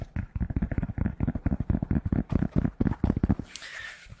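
Fingertips tap and scratch the stiff, structured fabric crown of a hollow, empty navy New York Yankees polyester fitted baseball cap held in both hands near the mic. A rapid run of about nineteen dull, low-pitched taps gives way to a softer, hissy scratching at the end.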